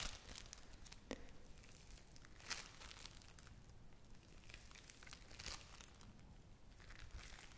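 A small lump of yellow play foam made of tiny foam beads is held in both hands and squeezed and kneaded with long-nailed fingers. It gives a steady stream of soft, crackly crinkling, with a few sharper pops standing out over a low background rumble.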